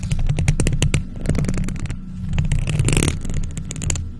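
Long nails in faux leather gloves tap and scratch a hollow silver metal mesh microphone grille, producing rapid bright clicks and scratchy rasps over a steady low hum. A denser scraping burst comes near the three-second mark before the taps thin out again.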